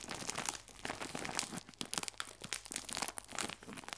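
A clear plastic film bag full of biscuits is squeezed, then scratched along the film with a fingernail. Dense, bright crinkling and crackling come in quick, uneven bursts with almost no low end.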